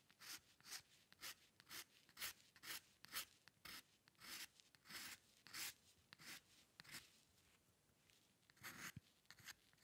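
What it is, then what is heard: Pen nib scratching on paper. A metal dip pen nib scratches short ink strokes across a white drawing paper sheet resting on a dark surface, the hand staying on the same sheet throughout. The result is a quiet, bright, dry series of scratchy rasps at roughly two per second in an uneven rhythm, each stroke brief with almost no ring and very little low end.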